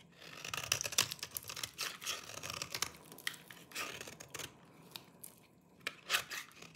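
A small knife cuts and scrapes a solid, dry green oval bar of soap held in the palm, carving it deeply into flakes. Crisp, bright crunching and scraping bursts come in an irregular, rapid series, each dying away almost instantly with very little low end.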